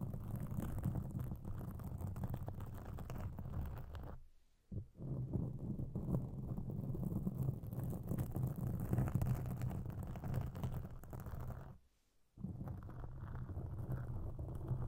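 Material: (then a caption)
Foam. Long pink acrylic nails on both hands scratch and rub a large, soft, porous black foam windscreen over a microphone, making a steady muffled, low-heavy rustling and scratching. Two brief silent pauses break the sound, near 4.5 seconds and again around 12 seconds.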